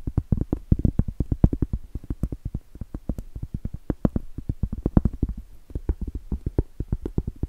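Long blue stiletto acrylic nails tap rapidly on the face and then the edge of a round, solid cork trivet. Each tap is a dull, low, muffled knock with almost no brightness, dying away almost at once. The taps come in a quick, uneven run with brief pauses.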